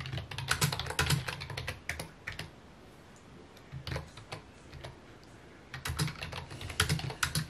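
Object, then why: Plastic computer keyboard. Fingertips type on a full-size white plastic computer keyboard with mint keycaps resting on a wooden desk. Quick, uneven bursts of key taps pair a dull low thump with a bright plastic click, broken by short quiet pauses. Each tap stops almost instantly.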